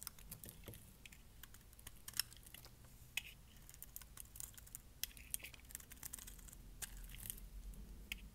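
A small metal blade shaves and scrapes flakes off a palm-sized, solid, dry dark pink bar of soap held in one hand, with curls falling onto a pile of shavings. Quiet, irregular, bright crisp clicks and scratchy scraping snaps sound over a steady low rumble.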